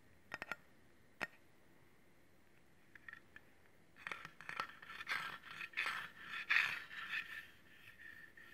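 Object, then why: Stainless steel cleaver blade. A solid stainless steel cleaver with a metal handle is held horizontally while fingernails tap and scratch its flat blade. A few sharp, isolated clicks come first, then from midway a denser run of scraping and tapping bursts builds up, each bringing out a bright metallic ring around 1.8 kHz.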